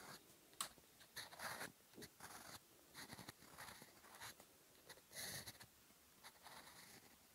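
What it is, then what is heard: Fountain pen writing on paper. A gold fountain pen nib scratches across a flat sheet of lined cream paper notebook page on a desk, writing Korean text in black ink. Short, bright, scratchy strokes come in separate bursts with quiet pauses between them.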